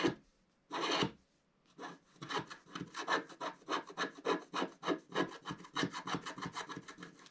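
A wooden stylus scratches the moon and top area of a black wax-coated scratch art sheet lying flat. After a short scrape and a longer raspy stroke, a quick run of short, dry scratches follows, each with a bright, hissy edge.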